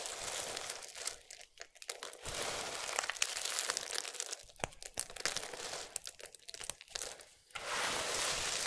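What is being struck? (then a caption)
Pile of soap shavings. Fingertips with long nails pinch, rub and crumble small, solid, dry multicolored soap strips on a bed of soap shavings. The result is a quiet, dense run of bright, crisp crinkling and crunching, with rapid, irregular little snaps and brief pauses between handfuls.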